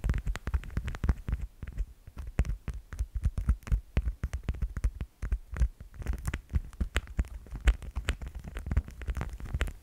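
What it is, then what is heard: Plastic cat figurine. A plastic cat figurine is tapped rapidly and irregularly for about ten seconds. The taps are short, dull, low thuds with faint clicky edges, and each dies away almost at once. They come in uneven bursts with brief pauses between them.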